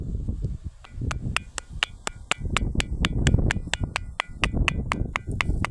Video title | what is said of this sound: वाजणारे दगड आणि निसर्ग संपन्न परिसर | त्याच्यातून असा मंजूळ खणखण असा आवाज येतोय